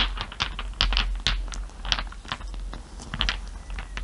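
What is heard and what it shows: A hand rubs and taps small solid glass marbles resting on fur with its fingertips and nails. The result is a quick, irregular series of short, bright glassy clicks and ticks centered near 3 kHz, each dying away almost instantly over a soft, steady low rumble.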